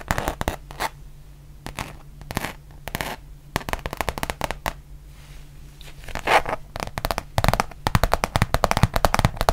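Long painted nails tap and scratch the printed surface of a thin, flexible, solid rubber-backed fabric mouse pad with a Eurovision print, held up in the air. Sparse dry clicks and soft scratches build into a dense run of quick, crisp taps over a faint low steady hum.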